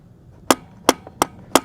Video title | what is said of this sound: 1997 - 2009 GM Turbo Hydra-matic 4L80E Transmission Factory Stock Rebuild Part 2 (Chevy & GMC) | When you hear that tapping kind of sound, you can be sure you're on there.